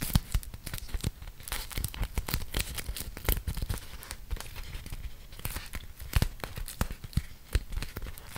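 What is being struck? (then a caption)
Beeswax-coated cotton wrap. A thin, flexible printed beeswax-coated cotton food wrap, about 25 cm, is held in both hands while fingertips with dark-painted nails peel apart its sticky folds and crinkle the waxed fabric. The result is a dense run of sharp, dry crackles and tacky, tearing-like peels over a soft low rustle, with frequent bright snaps spiking above the steady crinkling.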